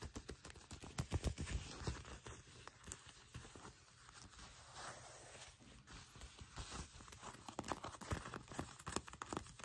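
Long nails tap and scratch across folded black faux leather trousers held in both hands, the smooth, thin, flexible material giving quick, dry clicks and soft scraping rustles. The taps come in an irregular, fairly fast patter with short bursts of crinkly scratching between them, all quiet and close with a low, thumpy body.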